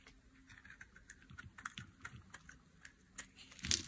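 A metal blade carves and scrapes flakes off a solid, hand-sized red bar of dry soap. Quiet, bright, crisp scratches and ticks come in a rapid, uneven series of about nine short strokes. A louder, harsher scrape lands right at the end.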